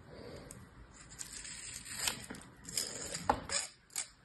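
A thin metal knife blade scrapes and slices across hard, dry beige kinetic sand packed full into a hand-sized orange plastic star-shaped mold held in one hand. Dry, gritty scraping and crisp cutting strokes come in quick bursts, bright and hissy with little low end, and each stroke ends sharply with almost no ring.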